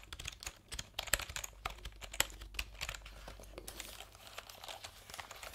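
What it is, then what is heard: Plastic computer keyboard being typed on. Fingertips type on the round keycaps of a colourful backlit plastic computer keyboard held diagonally. The result is a quiet, steady stream of quick, bright clicks and crinkly taps, with a few sharper keystrokes standing out over a faint low hum.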